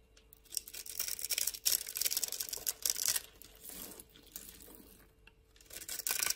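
A solid rectangular pink bar of soap held in hand has its edge scored and scraped with a metal blade. The result is a run of dry, bright scratching and crackly rasps with brief pauses between strokes.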